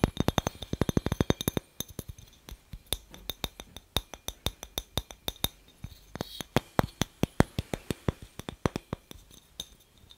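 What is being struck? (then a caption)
Glass light bulb. A glass light bulb is tapped repeatedly, giving short, bright glassy clinks that die away almost instantly. A fast, dense burst of taps in the first second and a half gives way to a slower, uneven run of clinks for the rest of the clip.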